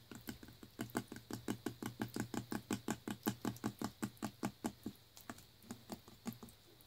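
A full clear plastic Naked juice bottle holding green smoothie, with a blue screw cap, is tapped with fingertips and nails near the shoulder, neck and label. About 30 short, dull, low-pitched taps come in a quick, slightly uneven patter that thins out and softens toward the end.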